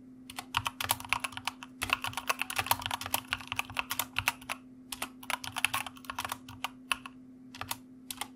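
Fingertips of both hands type continuously on the keycaps of a white plastic mechanical keyboard on a desk. Quick, bright, sharp clicks and clacks come in fast, uneven bursts with short pauses, over a faint steady low hum.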